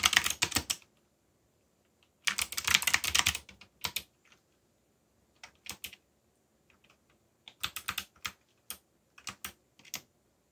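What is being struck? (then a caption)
Mechanical keyboard with plastic keycaps. Fingertips type on a backlit mechanical keyboard with black plastic keycaps, producing bursts of bright, sharp key clicks separated by short pauses. The presses come in irregular clusters of quick taps, each click dry and short with almost no ring.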